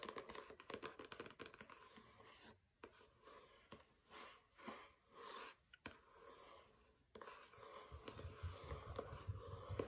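Fingernails scratch the matte paper dust jacket of a pink hardcover book resting on a carpet, and the jacket slides slightly under them. The sound is quiet, dry scratching: quick ticks at first, then slower brushing swells in the middle, and denser scraping with a soft low rumble toward the end.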